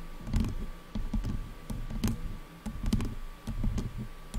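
Long nails tap and scratch along the sides of the black plastic headband of over-ear headphones. The result is an uneven run of dull, low knocks with short bright clicks and rough scraping between them, and a faint steady tone sits underneath throughout.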